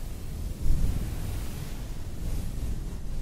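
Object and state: Nothing is struck.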